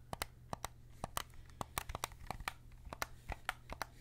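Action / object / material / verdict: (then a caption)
tap / plastic game controller buttons and triggers / plastic / none. A white PS5 DualSense controller made of hollow plastic is held in both hands while fingertips click its triggers and buttons. About twenty sharp, short plastic clicks come in an irregular rhythm, each bright and quickly fading over a faint steady low hum.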